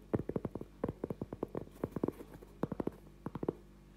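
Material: Cork.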